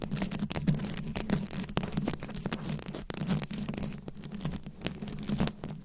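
Long nails scratch and tap across the top of a rhinestone-studded microphone head. Dense, crackly scratching runs throughout, broken by frequent sharp taps, over a steady low, buzzy tone.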